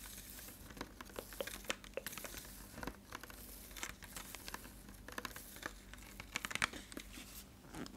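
A clear, partly filled, hollow plastic water bottle is held up and tapped or squeezed with fingertips and nails. It gives quiet, crisp crinkling and crackling with many sharp, bright clicks and taps scattered over a soft steady hiss.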